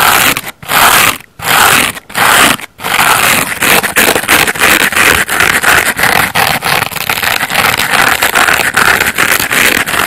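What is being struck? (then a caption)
Layered foam bath sponge. Fingernails scratch the yellow face of a layered foam bath sponge made of solid porous foam, making bright, dry, hissing scrapes in a few long strokes separated by brief pauses. The sponge is then turned and fingertips scratch along its yellow edge, producing a steady run of quicker, rougher rasping scratches with little low end.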